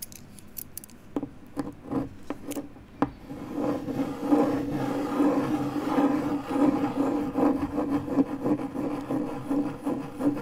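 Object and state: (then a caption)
MDF board scratched with a key. The tip of a metal car key is dragged in circular scratches over a large, flat, pale MDF fiberboard panel resting on a desk. A few sharp, sparse ticks open the clip, then it settles into a steady, raspy rubbing with a low, hum-like tone near 290 Hz. The sound swells and fades in a loose rhythm with each circular stroke.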